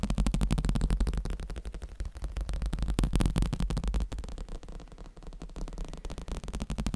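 A black cushion is tapped quickly and continuously, making a dense stream of soft, muffled thumps. The sound is dull and bass-heavy, with almost no ring after each tap.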